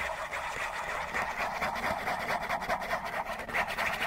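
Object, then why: Cardboard tissue box. Fingernails scratch quickly along the sides of a hollow Kleenex tissue box made of printed cardboard. The result is a steady, rapid, raspy scratching with a papery midrange centered around 800 Hz and a bright hiss on top, with almost no low end.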